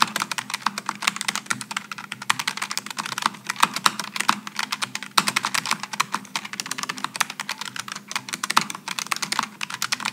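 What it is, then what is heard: Low-profile mechanical keyboard, typing. A Logitech G915 low-profile mechanical keyboard with aluminum and plastic keycaps is typed on continuously by both hands with the fingertips. The result is a rapid, steady stream of short, bright clicks and clacks that die away instantly. A faint low hum sits beneath them.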